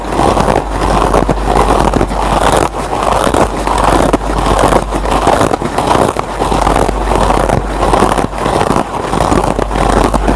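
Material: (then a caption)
Nylon. Fingertips and short nails scratch the green nylon scour pad of a single foam scrub sponge, close up. A dense, continuous rasping scratch with crackly texture sits mostly in the low mids, rising and falling in uneven strokes over a steady low hum.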